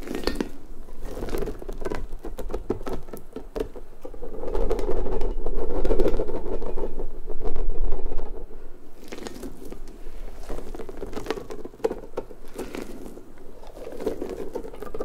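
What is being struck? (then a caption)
Hollow rubber puffer ball. Long nails pull and scratch at the spikes of a large, hollow, pink rubber puffer ball, then both hands squeeze it. Rapid, uneven scratchy pattering runs over a low rubbery rumble, which swells louder in the middle as the ball is squeezed before settling back to quieter scratching.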